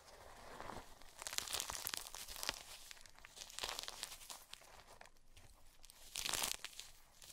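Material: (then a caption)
Magnesium carbonate. Long purple-painted nails and fingertips press, crush and scratch through a heap of white gym chalk (magnesium carbonate) broken into crumbly chunks and powder. Bright, dry crunching and crackling with dense, sharp clicks swells into louder bursts and then eases into softer scratching. The solid pieces crumble apart under the pressure.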